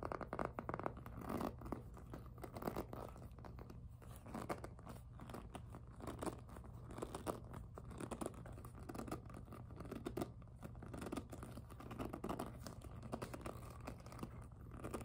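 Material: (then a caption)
PVC plastic. Long nails scratch and tap across the glossy surface of a hollow pink jelly PVC handbag, giving a steady, dense run of dry scratchy rubbing dotted with quick taps. The sound is quiet and sits mostly in the low and middle range, over a constant low hum.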